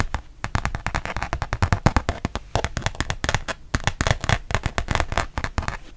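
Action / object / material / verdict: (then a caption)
tap / rubber-backed fabric mouse pad / fabric, rubber / none. A thin, solid, rubber-backed fabric mouse pad held in both hands is tapped and scratched on its printed side with long painted nails. The result is a rapid, continuous stream of short, dry taps with a low, thumpy body and bright, crackly edges, mixed with scratching and almost no ring.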